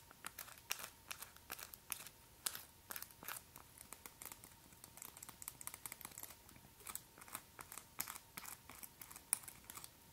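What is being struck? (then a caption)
Acrylic press-on nails. Long, white, hollow acrylic press-on nails on one hand are tapped and clicked by the nails of the other hand. Dozens of rapid, sharp, dry clicks sound in an irregular stream over ten seconds, bright and high-pitched with almost no ring, over a faint steady tone.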